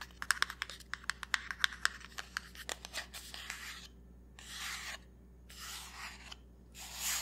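Fingertips and nails tap and scratch a small black Anastasia Dipbrow Pomade box made of printed cardboard while it is held up. For the first three and a half seconds, a quick series of sharp, dry, bright taps sounds, then it gives way to longer, hissing scratch strokes over a faint, steady low hum.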